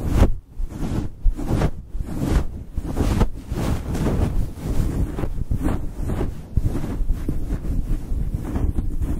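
Fingertips and nails on both hands scratch and rub a fluffy synthetic faux fur windscreen on a microphone. The result is a continuous, muffled, deep rumbling rustle with almost no high end, swelling and dipping in uneven waves like wind buffeting.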